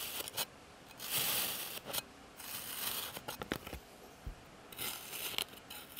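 A clear plastic blade slices and scrapes through a flat, solid slab of blue kinetic sand pressed with a patterned texture on a white surface, in repeated cuts. Each cut makes a bright, gritty scraping hiss with little low end, separated by quiet pauses.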